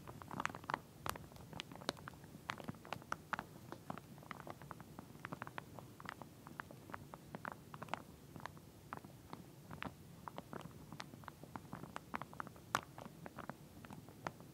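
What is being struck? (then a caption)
Plastic comb in a plastic sleeve. Long nails rapidly tap and scratch across the teeth of a pink plastic comb still sealed in clear plastic packaging and lying flat. The result is a quiet, continuous stream of dry, crinkly clicks and scrapes with a soft low rustle underneath, and brief bright ticks poke out here and there.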